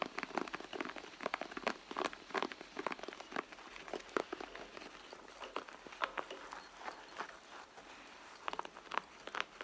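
Fingertips and long nails tap quickly and irregularly on a red soft-leather handbag. Many short, dry clicks and light crackly taps sound against a faint, steady hiss. Each tap dies away almost at once.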